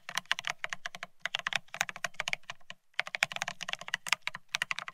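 Rapid two-handed fingertip typing on a Bear65 mechanical keyboard fitted with blank white matte ceramic keycaps (Cerakey) on a steel plate, resting on white cloth. A dense stream of short, bright, clacky keystrokes with almost no ring, with a brief pause just before the three-second mark.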